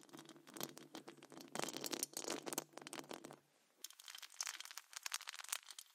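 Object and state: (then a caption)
Metal mesh microphone grille scratched and tapped. Very long acrylic nails on both hands scratch and tap the rounded, hollow metal wire-mesh grille of a large condenser microphone. The result is a dense run of bright, crackly scratches and quick ticking taps, layered over a low steady hum for the first half. After a brief near-silent pause, the crisp scratching resumes without the hum.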